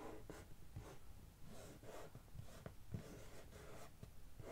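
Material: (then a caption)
Cardboard. Long nails scratch across the printed top of a medium, closed, hollow brown corrugated cardboard shipping box. The result is a steady, dry scraping texture in repeated strokes, underlaid by a low, hollow resonance from the box.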